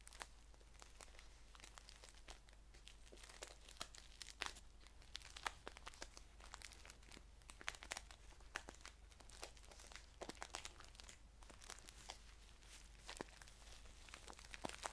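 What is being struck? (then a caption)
Paper tea pouch. A green paper tea pouch with a label is handled and tilted while fingertips crinkle its top fold and scratch along its sides. Quiet, dense crisp crinkling fills the clip, with many sharp, bright paper ticks over a steady low hum.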